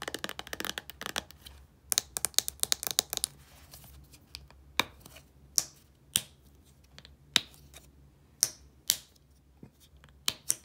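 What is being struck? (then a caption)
Small plastic shampoo bottle. A small, hollow white plastic Head & Shoulders shampoo bottle with a blue cap is tapped and scratched with long painted nails. A dense cluster of quick, dry, bright clicks and scratchy rustles opens the clip. It then thins into separate sharp taps spaced about a second apart, each dying away almost instantly with very little low end.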